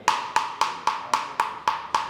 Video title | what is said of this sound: GRAN TURISMO TRAINING CENTER VISIT: MENGUJI EFEKTIVITAS PEREDAM MOBIL LEWAT SIMULASI DEMO! | semuanya tipis tapi full ujungnya malah nyaring kayak bakul bakso